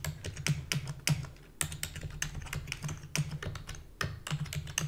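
Long fingernails and fingertips type rapidly on a full-size black plastic keyboard with a hollow body, one hand briefly lifting off the keys. Quick, bright clicks and clacks follow each other in an uneven stream, each dying away almost instantly, over a steady low hum.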